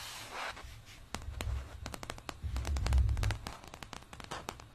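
A flat printed plastic placemat with an espresso cup design, lying on fabric, is scratched and tapped with long dark painted nails using both hands. A soft scratchy hiss opens the clip, then a quick, uneven run of sharp, bright clicking taps follows over a muffled low thumping rumble.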